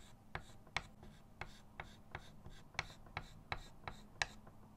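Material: Chalk.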